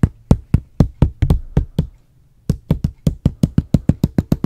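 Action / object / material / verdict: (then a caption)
tap / plastic water bottle / plastic / none. Fingertips and nails tap a medium, hollow, clear plastic water bottle with a white label and cap close to the mic. Twenty-two quick, dull, low knocks come in a steady run, broken by a short pause of near silence before the tapping resumes at a slightly faster pace.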